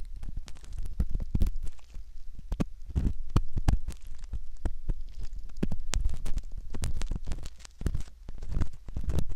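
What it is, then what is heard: Silicone ear model being scratched. A straight metal pick rubs and scratches at the canal entrance of a soft silicone ear model. The result is a continuous, muffled, low-heavy rumble of rubbing, broken by many short, sharp scratchy clicks with faint bright edges.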